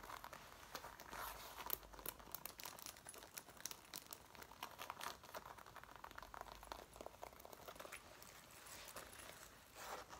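A dark brown faux leather jacket is being worn while both hands with long nails scratch, rub and crinkle its soft, flexible front panels around the waist and zipper. Quick, dry crinkles and scratches bunch together in dense runs with bright, hissy detail and almost no low end, over about ten seconds.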